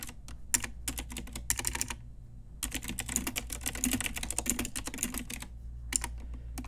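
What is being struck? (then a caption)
Plastic mechanical keyboard keys. Long nails and fingertips type on an Ajazz pink retro typewriter-style mechanical keyboard with round plastic keycaps. Bright, crisp plastic clicks come in quick bursts, with a short pause before a longer, denser run and a few final taps. A low steady hum sits underneath throughout.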